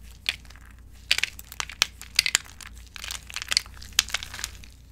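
Hands with long acrylic nails squeeze and crush handfuls of brittle, dry white bar-soap chips in a bowl. The result is a rapid series of dry, bright, crackling crunches with no ring, over a faint, steady low hum.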